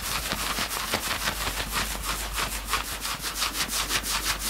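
Both hands grab and scratch the grey front fabric of a worn knit sweatshirt. The result is a continuous, bright, scratchy rubbing that pulses in quick, fairly even strokes, about three per second.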